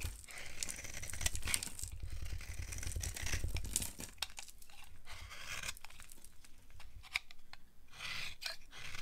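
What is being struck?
Bar of soap.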